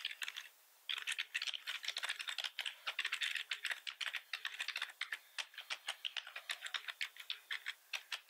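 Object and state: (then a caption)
Plastic computer keyboard. Fingertips from both hands tap the keys of a black plastic computer keyboard with red keys resting on a wooden desk. After a brief pause near the start, a quick, steady stream of short, dry clicks follows, bright and rattly, with almost no low end and no ring.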